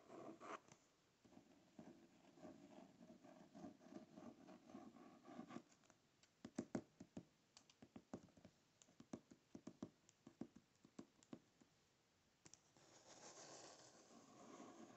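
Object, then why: Hardcover book with paper-covered board. Fingernails scratch the printed paper-covered board of a closed hardcover book near its edge, producing a soft, steady rasp. This gives way to a run of separate, sharp little taps on the cover. A dry scratching returns at the end.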